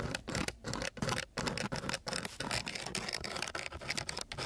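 A flat wooden stick is scraped along the grit of a coarse sheet of sandpaper. The result is a run of rough, broadband scratching strokes with a bright, hissy edge, separated by brief pauses.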